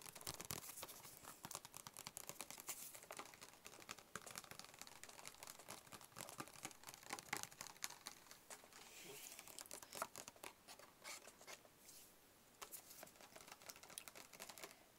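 A hollow, closed, white cube-shaped cardboard product box is tapped with fingertips and short nails. The result is a quiet, steady stream of rapid, crisp taps and dry scratchy clicks with a bright, papery crinkle and very little low end. Each tap stops almost instantly.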